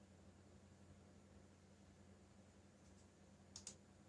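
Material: Plastic.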